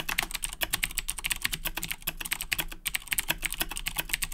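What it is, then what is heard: Plastic mechanical keyboard being typed on. Both hands type continuously with fingertips on a black plastic Razer BlackWidow 2010 Edition mechanical keyboard with Cherry MX Blue switches, resting on a desk. A fast, steady stream of sharp, bright clicky keystrokes dies away almost instantly, over a faint low hum.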